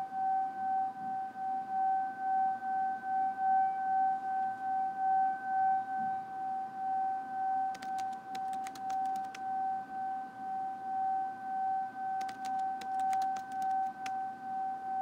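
A small, hollow, empty brass singing bowl rests on an open palm while a wooden mallet with a dark suede- or leather-wrapped end strikes it and rubs around its rim. The bowl sings a steady, sustained tone near 773 Hz with a higher overtone, swelling and fading in a slow wavering pulse. Bursts of bright metallic clinks sound midway and again near the end.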